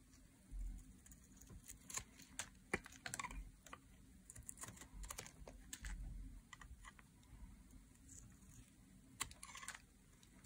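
A thin metal blade is drawn across the surface of a solid green dry soap bar held in hands with long nails, shaving off curled strips. The scraping comes through as quiet, crisp, bright ticks and scratchy bursts over a soft low rumble, each snap dying away almost instantly.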